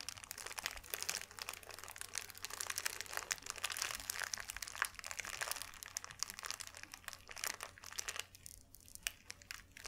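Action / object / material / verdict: scrape / thin white paper sheet / paper / none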